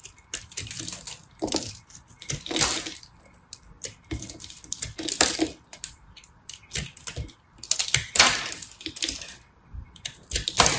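A small knife blade shaves a small, solid chunk of pressed multicolor soap held in the fingers, and the flakes drop away. Bursts of crisp, bright scraping and crackling come in quick irregular clusters, each sound cut off sharply with little ring.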